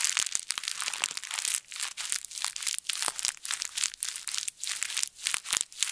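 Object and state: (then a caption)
Plastic bag. A thin plastic bag is twisted and squeezed between both fists, giving a continuous run of crisp, bright crinkling with sharp crackles and no low end. The crackling swells and briefly thins out several times over the six seconds.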